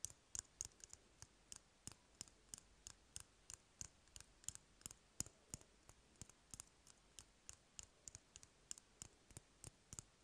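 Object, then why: Empty cardboard paper roll. Fingernails tap and scratch the surface of an empty, hollow cardboard toilet paper roll held in the hand. Quick, dry clicks with a bright, high edge come in an uneven stream of about 38 taps. Each tap dies away almost instantly over a faint background hiss.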